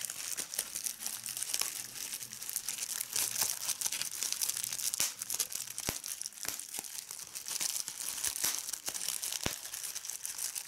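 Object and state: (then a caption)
Plastic bubble wrap. A folded strip of clear plastic bubble wrap is held in one hand while the fingertips squeeze it and pop the bubbles. A steady, bright crinkling runs throughout, broken by several sharp, short pops with almost no low end.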